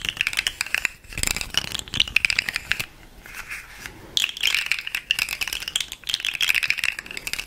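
A hollow, segmented, articulated rainbow plastic fidget slug toy, about hand length, is held in the hands, flexed and tapped with long nails. It makes dense bursts of bright, dry clicking rattle with a ringing tone around 2.5 kHz and almost no low end. The clicking eases to a quieter, softer rustle for about a second in the middle before picking back up.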